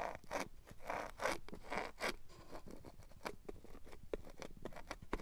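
Long matte black nails scratch and drag over a red felt box lining. A few longer, breathy scraping strokes with a soft, fuzzy texture give way to quicker, shorter scratches and light ticks. The sound stays quiet and close, with no ringing afterward.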